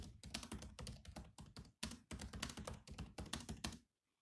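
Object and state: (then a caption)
Plastic laptop keyboard. Fingertips type on the black plastic keys of a grey laptop keyboard, producing a quick, uneven run of soft clicky taps with some deeper thunks. The bursts continue for about four seconds before stopping into silence.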